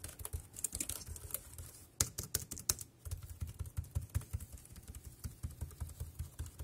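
Fingertips type on the round keys of a dark grey plastic wireless keyboard. A rapid, uneven stream of short taps is heard, each with a dull low thump and a bright plastic click that dies away almost at once. A few sharper, louder keystrokes stand out in the middle.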